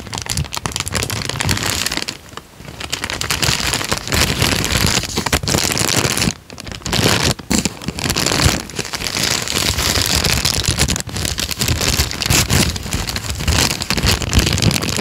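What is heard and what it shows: A thin peach paper sheet, folded over, is crinkled and rubbed between the fingertips of both hands. The result is a dense, steady crackle bright across the high range with a low rumble underneath, easing briefly around 2.5 and 6.5 seconds before resuming at full intensity.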